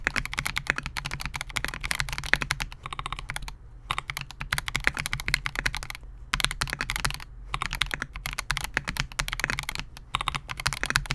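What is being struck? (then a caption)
Mechanical keyboard with polycarbonate case and plastic keycaps. A compact 68-key Melgeek MOJO68 mechanical keyboard with Gateron G Silver Pro switches, a clear polycarbonate case and SA-profile plastic keycaps rests on a desk mat while the fingertips of both hands type on it continuously. Rapid, bright clicky-clacky keystrokes centered around 1.8 kHz stream along, broken by a few brief pauses, over a steady low hum.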